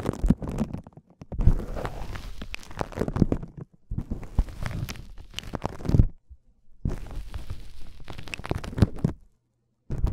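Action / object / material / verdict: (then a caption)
scrape / polyethylene foam mesh wrap / polyethylene foam / none. White polyethylene foam mesh wrap is held taut and rubbed with fingertips and thumbs, giving soft, low crinkling and squeaky rubbing in several bursts. The bursts are separated by brief silences.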